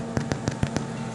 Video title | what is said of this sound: Potato Rolls | Hollow sounding which means they're cooked